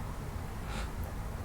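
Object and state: Nothing is struck.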